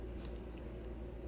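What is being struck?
Nothing is struck.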